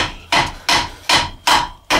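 A hammer taps five times on a steel driveshaft universal joint removed from a 2011 Nissan Rogue, each strike giving a bright metallic clank with a ring near 950 Hz that fades quickly. The joint is cracked, though the crack is seen rather than heard in the taps.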